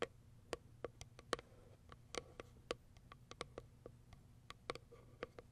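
Long white acrylic nails tap and scratch the top of a small white Kiara Sky printed cardboard product box. The result is an irregular series of short, dry, clicky taps with a hollow tone around 480 Hz and bright edges, with a faint scratch between them. It all stays quiet over a steady low hum.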